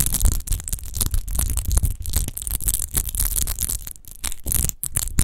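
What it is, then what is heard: Textured glass wine bottle. Long nails scratch fast across a large, hollow, clear glass rose-shaped wine bottle with a rose-textured base, apparently empty. The result is a continuous stream of quick, gritty scrapes with bright, hissy edges over a heavy low rumble. The scratches rise and fall in rapid, uneven bursts with a few brief pauses.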